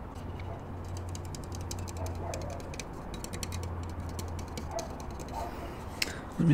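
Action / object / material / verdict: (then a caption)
tap / plastic spirit level / plastic / none. A short bright-green plastic spirit level with hollow cutouts and bubble vials is held close and tapped and scratched along its frame with fingertips and nails. Quick, dry plastic ticks and scrapes patter over a steady low hum, and a louder thump comes at the very end.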